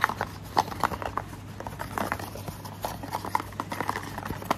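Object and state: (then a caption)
Small cardboard box tapped with fingernails. Fingernails tap and scratch a small, hollow, printed paperboard orange cardboard sunscreen box held in one hand. A quick, irregular series of dry, hollow clicks rings near 1.1 kHz over soft scratching. Each tap dies away almost instantly.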